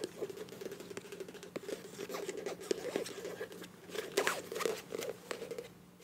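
Long nails tap and scratch the flat printed body of a filled, medium beige plastic Ambi face wash tube with a bronze cap. Quick, dry clicks and soft scraping patter along at a low level, each tap dying away almost instantly over a faint hollow tone near 395 Hz.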